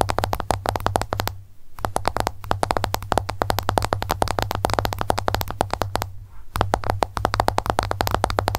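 An iPhone lies flat with its glass screen up as long nails tap rapidly on the glass. The result is a dense stream of sharp, clicky taps with two brief pauses and a steady low hum underneath.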